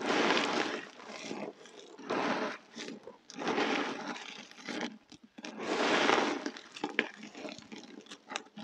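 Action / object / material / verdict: scrape / pile of dry soap chunks / soap / none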